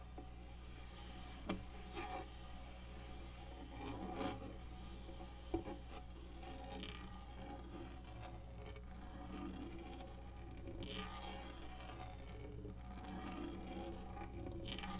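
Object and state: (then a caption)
Textured plastic lap tray. Single long nails and fingertips scratch and rub the textured top of a black hollow plastic lap desk, making soft, dry rasping strokes over a steady low hum. Three brief sharp ticks stand out early on, and the scratching grows a little denser and brighter toward the end.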